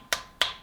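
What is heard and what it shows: Two sharp taps on the plastic shell of a budget radio-control transmitter (about 35 €), each a bright, brief click with a fast decay and little low end. The shell sounds solid rather than hollow, and the transmitter is heavy and sturdy even without batteries.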